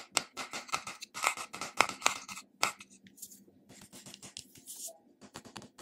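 A small, squat glass cream jar, likely full, with a silver metal screw lid, is held in one hand while the short fingertips and nails of the other hand tap and scratch the top and side of the lid. Quick, irregular metallic taps with a bright, slightly ringing tone around 1.3 kHz come first, then give way to softer, scratchy rubbing.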